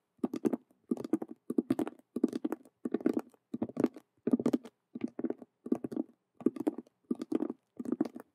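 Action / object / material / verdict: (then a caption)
tap / patent vinyl cube-shaped handbag / patent vinyl / none. Long nails rapidly tap the colored stitched squares on two faces of a hollow patent faux leather (vinyl) Rubik's cube handbag. The result is quick, dry, hollow patters grouped into short bursts with brief pauses between them. The tone is muted and mid-pitched, centered around 300 Hz, with little ring and little low or high content.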